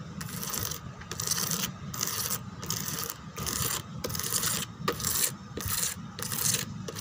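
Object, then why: Molded plastic chair back. Long teal nails rub and scratch the back of a white molded plastic chair embossed with roses and lattice. Bright, raspy scratching strokes repeat in bursts separated by brief pauses, over a faint low rumble.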